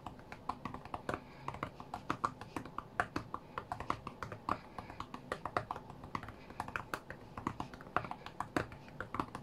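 Both hands tap rapidly with fingertips on the glass touchscreen of a white iPad lying flat on a mat. The result is a fast, irregular stream of dozens of dry, short clicks. Each click has a mid-range knock around 700 Hz that dies away almost instantly over a faint background hiss.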